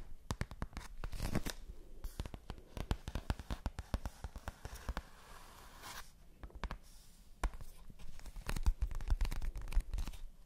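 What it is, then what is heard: Cardboard box tapped and scratched. A large, flat, printed cardboard advent calendar box, hollow, is held in front of the mics and tapped and scratched with long nails. Quick, dry, hollow taps and clicks come in dense bursts over soft papery scratching, with a quieter stretch of scratching in the middle before the rapid tapping picks up again.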